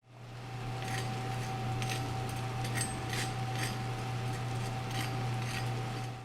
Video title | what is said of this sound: Chef John’s Best Dumpling Recipes | even over the sound of my oven fan you could hear how crispy that is